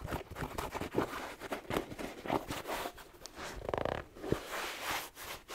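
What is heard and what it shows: Fingers rub and scratch along the upper and rubber sole of a black suede slipper shoe with a fleece collar, held in one hand. Soft, dry brushing and scratching strokes come in quick bursts, with a faint hiss and a few brief tapping accents. Near the middle comes a faster, ridged scratch.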